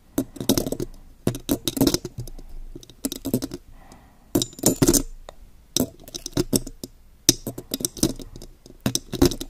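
Long, pointed gold metal claw nails tap and scratch a silver metal condenser microphone with a mesh grille. Quick clusters of sharp, bright clicking taps come in bursts, separated by softer scratchy rustling against the grille. Each tap dies away almost at once.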